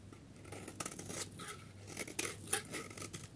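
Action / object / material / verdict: scrape / soap bar / soap / none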